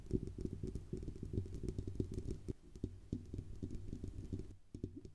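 Long nails rapidly tap and scratch the hollow metal body of a silver Blue Yeti USB microphone near its grille band. The result is a dense, steady patter of soft, dull knocks with a low hollow resonance and faint bright clicks, each dying away almost instantly, with a brief quieter stretch near the end.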